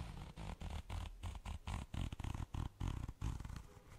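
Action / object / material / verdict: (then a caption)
scrape / glitter-coated fabric zipper pouch / glitter fabric / none. Long nails scratch and tap the glitter-coated surface of a small, soft, pink flat zipper pouch that seems empty. The result is a run of quick, close scratchy bursts with a dull, low-heavy texture and brief gaps between the strokes.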